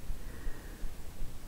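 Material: Nothing is struck.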